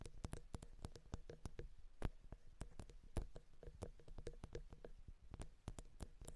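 Long, dark-painted nails from both hands tap and scratch the two small, hollow metal X/Y microphone capsules of a Zoom H6 handheld recorder. The result is a rapid, irregular run of dry, close clicks, each with a deep, boomy low thump and a bright tick that dies away almost instantly, with faint scratching in between.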